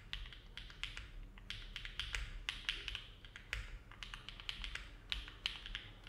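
A compact Neo70 mechanical keyboard with an aluminum case and plate, foam-filled, with hollow ABS plastic keycaps, sits on a desk mat while fingertips of both hands type with steady key presses. Quick bright clicky taps with a faint low thud underneath come at an unhurried pace, each dying away almost at once.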